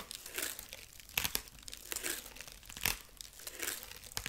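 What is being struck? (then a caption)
Corn husk figurine. Long nails scratch the dry corn husk body of a rabbit figurine near its arm and carrot. The result is soft, bright, crinkly scratching in irregular bursts, with a few sharper crackles.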